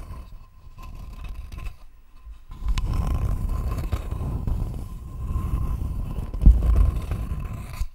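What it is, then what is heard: Wooden board scratched with nails. Long nails scratch across a thin, flat, rectangular wooden board held close to the microphone, making a low, grainy scraping rustle. The scratching starts softly, drops away briefly near the two-second mark, then comes back louder and more continuous with a few sharper scrapes near the end.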